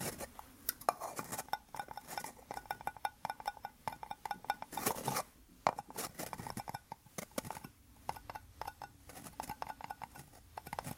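Two small white plastic cups joined rim to rim, hollow and empty, are held up and tapped and scratched with fingertips and nails. The result is a quick, irregular stream of light clicky taps with a hollow ring near 840 Hz, mixed with brief bright scratching passages and short pauses.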